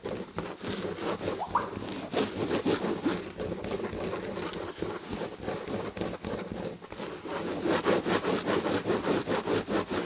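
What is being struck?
Fabric-upholstered chair back.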